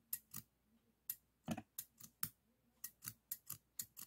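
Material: Steel.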